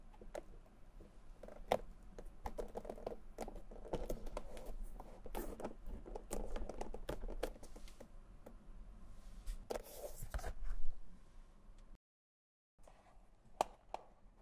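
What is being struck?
Rubber heel sole on a leather shoe.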